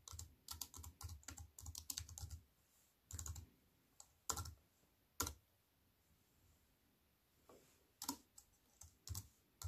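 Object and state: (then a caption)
Plastic computer keyboard with metal frame. Fingertips and long white nails type on a compact wireless keyboard with black plastic keys in a thin silver aluminium frame, resting on a wooden table. A quick run of dense clicking gives way after a pause to short bursts and single sparse key presses. Each press is a dry, short click with a soft low thud and a bright tick that stops at once.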